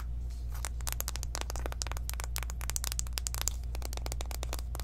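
Long nails tap quickly along the edges and faces of a small, hollow pink cardboard eyeshadow palette box. The result is a rapid stream of short, dry, bright clicks and light scratchy taps that die away almost instantly, over a steady low hum.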